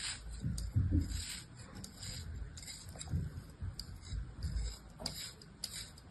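A small, solid mound of beige kinetic sand resting in a palm is sliced again and again with the blade of an orange plastic knife. Each cut gives a soft, crumbly scrape with a low, muffled body and a faint bright hiss. The strokes come in uneven bursts that quickly die away.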